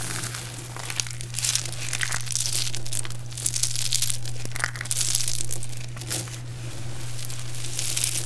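Cupped hands scoop and squeeze handfuls from a heap of small, brittle, multicolored dried soap chips, crushing them and letting them fall back. Dense, crunchy crumbling and crinkling bursts with bright, hissy high-end texture rise and fade in waves over a steady low hum.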